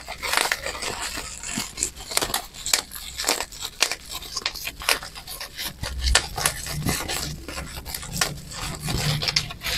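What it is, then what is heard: Plastic bubble wrap. A crumpled sheet of clear plastic bubble wrap with air-filled bubbles is squeezed and popped between fingertips and thumbs. It makes a rapid, irregular string of sharp, bright pops and crackles over a rustling crinkle of plastic. Each pop dies away almost instantly over a faint low hum.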